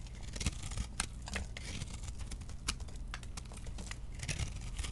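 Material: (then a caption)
Soap. A metal blade scrapes thin, curled shavings off a round, solid bar of chunk soap held in the hand. The result is a steady run of short, dry, crackly scraping strokes with bright, crisp edges over a low, muffled rumble.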